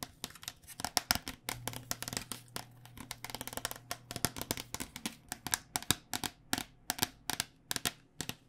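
Fingernails tap quickly on the outer plastic shell of a white cycling helmet, which is held sideways and is hollow, with foam under the shell. Around forty sharp, dry, bright clicks follow in an uneven stream and die away almost instantly. A faint low hum sits beneath the tapping in the middle of the clip.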